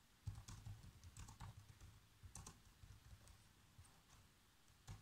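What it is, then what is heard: Plastic laptop keyboard. Fingertips with short nails type fast across the black plastic chiclet keys of a laptop keyboard, making quick, soft taps with low thumps and brief bright clicks. The keystrokes come in uneven bursts with short pauses, each tap dying away almost instantly.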